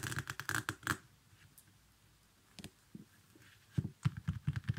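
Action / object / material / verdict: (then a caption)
tap / small leather baby sandal / leather / none. Fingers handle the velcro strap of a small leather baby sandal and fingernails tap its sole. A rapid flurry of crackly, rasping strap sounds fills the first second, then after a quiet pause come scattered short, dull taps that cluster together toward the end.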